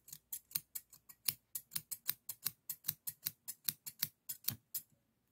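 Solid stainless steel hair thinning shears with a toothed blade are held in the hand and repeatedly opened and closed. About 23 quick, bright metallic snips of rubbing and clicking blades come at an uneven pace, each dying away almost instantly.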